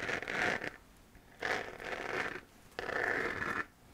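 Long fingernails scratch across the textured surface of a hollow, glowing 3D-printed plastic moon lamp sphere in three separate strokes. Each stroke gives a dry, rasping, mid-to-high scratch centred near 1.7 kHz, with quiet gaps between them.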